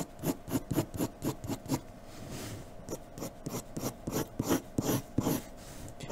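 A graphite pencil scratches quick shading strokes across a flat sheet of white drawing paper lying on a dark table. The short, dry rasps come in a steady rhythm, pause briefly with a softer continuous scrape, then resume in another run of strokes.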